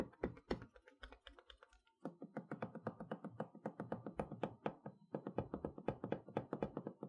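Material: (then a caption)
Cardboard, plastic. Long nails and fingertips tap and rub across the clear plastic window of a large, flat Mickey Mouse magnetic chalkboard set box, a cardboard box with colorful wooden letters behind the window, held upright on a table. About fifty quick, dull, clicky taps come in uneven bursts, with short pauses near two and five seconds. Each tap is soft and dies away almost at once.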